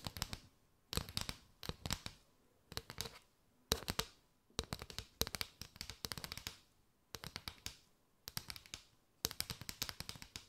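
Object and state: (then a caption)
Paper straw mat. Long nails tap and scratch across a mat of hollow paper straws held in an arch. Quick, dry, bright clicks and rasps come in short bursts separated by brief quiet gaps, each sound dying away almost instantly.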